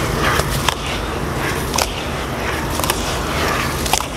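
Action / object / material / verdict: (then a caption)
drop / damp sand and dust mix in a plastic basin / wet sand / none. Hands knead and squeeze a heap of damp grey sand and dust mix in a blue plastic basin, then lift handfuls and let the crumbly wet sand drop back onto the pile. A steady gritty, crunchy rustle runs throughout, broken by several short bright crackles as clumps fall and break apart.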